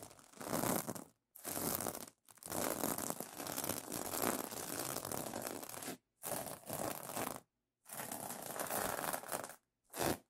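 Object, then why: Plastic sequin fabric pillow cover. Fingers and nails scratch and rub across the reversible plastic sequin fabric of a pillow cover, flipping the sequins over. Dry, bright crinkling scrapes come in several separate bursts with short silent gaps between them.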